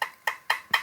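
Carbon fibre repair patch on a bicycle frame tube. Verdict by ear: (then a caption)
Debonded. A coin taps four times on a DIY carbon fibre repair patch on a bicycle down tube. Each tap is a short, soft, dull knock with a brief mid-high ring rather than a glassy, stiff tone. Quieter, duller areas are likely separated layers: the repair is a debonded, bad composite that is unfit for road use.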